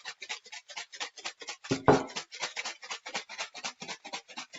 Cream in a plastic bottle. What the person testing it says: I can hear all that liquid now